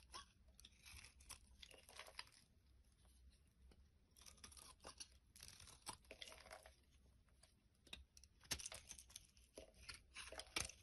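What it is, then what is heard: Bar soap being shaved. A solid translucent orange bar of soap, held in the hand, is shaved with a metal blade while a second bar lies behind it. Bright, crisp scraping and crunching strokes come in irregular bursts, with a couple of sharper, louder cuts near the end.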